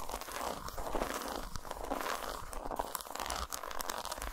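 Long nails tap and scratch a solid, segmented dark chocolate bar lying flat on a towel. The result is a steady run of quick, crisp crinkly scratches and taps with a dry, mid-range crunch and a low thumping underneath.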